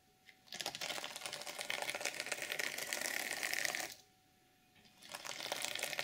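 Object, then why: Sequin fabric journal cover. Long nails scratch and rub across the flat reversible sequin fabric cover of a journal, flipping the sequins so they change color. A dense, bright, crackly rasp runs for about three and a half seconds, stops briefly into near silence, then starts up again and continues to the end.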